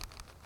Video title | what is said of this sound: 4 Generations of Police Duty Pistols in One Police Family | like when I shake it around, I could hear it rattling. That thing, it's loose. It's well used.